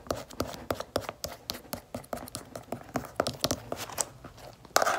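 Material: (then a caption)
Cardboard. Long red-painted fingernails tap and scratch the stiff, gold-striped cardboard cover of a closed spiral planner held up in the hands. About twenty quick, crisp clicks and short scrapes follow one another, each dying away almost at once, with a slightly louder flurry at the end.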